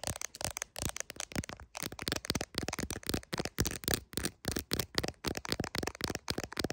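Long acrylic nails tap rapidly on the camera lenses and clear plastic case of an iPhone, seen in a mirror, sometimes partly covering the lens. The result is dense bursts of short, sharp clicky taps with a bright, crackly edge and almost no ring.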